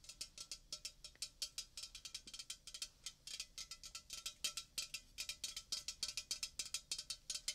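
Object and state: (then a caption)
Aluminium soda can. A red, roughly 330 ml Coca-Cola aluminium can, hollow and apparently unopened, is held in one hand beside the microphone and tapped with fingernails. About 46 quick, bright, tinny clicks come in an uneven rapid rhythm, almost all high-pitched with very little low end. Each tap dies away almost at once, with only a faint metallic ring.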